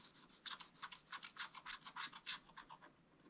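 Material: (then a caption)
Coated paper. A wooden stylus scratches across a flat, black wax-coated scratch-art paper page in about 14 quick, uneven strokes. Each stroke is a soft, bright, raspy scrape with almost no low end, and they fade to a faint hiss near the end.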